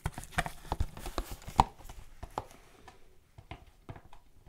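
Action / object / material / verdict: tap / printed cardboard gift box / cardboard / none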